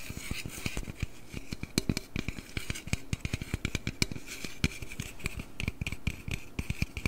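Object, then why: Aluminum drink can. A slim aluminum Red Bull can, tilted to show its bottom and top, is tapped and scratched with nails and fingertips close to the microphone. Quick, dry clicks and taps come in uneven bursts over soft scratching, with a low, thumpy body and a faint metallic tinge. Each tap dies away almost at once.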